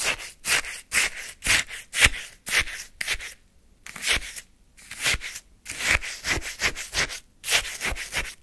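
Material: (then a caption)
Ice. A wooden spoon scrapes repeatedly across the frozen surface of a full paper cup of lemon shaved-ice sorbet. Each stroke makes a short, bright, crunchy scratch, with brief pauses between strokes.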